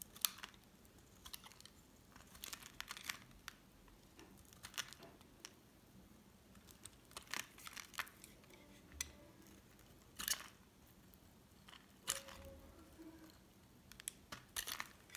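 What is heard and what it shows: A solid cream oval bar of soap, held in the hand, is shaved with a metal utility knife blade. The result is a series of short, dry, bright scraping and crinkling bursts with quiet pauses between them, as fine curls peel off the bar.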